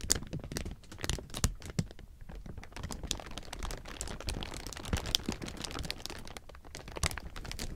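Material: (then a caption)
Plastic film. A large heap of thin, clear plastic sheeting is rubbed and squeezed by hand, producing a dense, continuous crinkle. Sharp, bright crackles and snaps rise above a low rustle for the whole clip, with no pauses.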